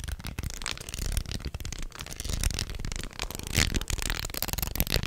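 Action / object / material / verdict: shake / wooden segmented snake toy / wood / none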